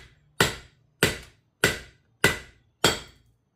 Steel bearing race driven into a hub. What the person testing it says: Went from a dull thud to a ring. That means we made contact with the bottom, so the lip is on the bottom.